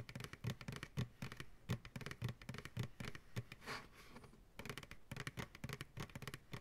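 An empty white plastic ice cream pail, turned upside down and held by its sides, is tapped quickly on its side walls with fingertips and nails. The taps make hollow, low thuds with bright clicky edges in an irregular, rapid patter. A brief soft, hissy brush sound comes in the middle before the tapping resumes.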